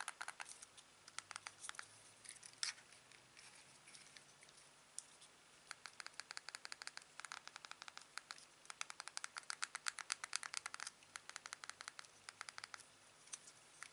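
Fingertips and a thumb press the buttons on the face of a small, hollow black plastic headset earpiece with a USB plug. The result is a quiet, steady stream of many short, dry, bright clicks and taps, coming in quick runs with brief pauses between them.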